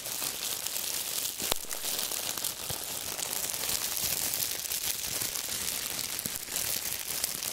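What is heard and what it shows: A small bunch of clear, thin plastic wrap is squeezed and crinkled between the fingers. It makes a steady, dense stream of bright, crackling rustles, with a sharper snap early on. There is little low end.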